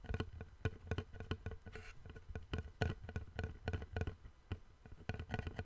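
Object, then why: Flat wooden board. Fingertips tap and scratch the face and edge of a long, flat, light wooden board that is solid and held in both hands. A quick, irregular series of dull, low knocks with very short ring is heard, with a brief soft scratching rustle between them.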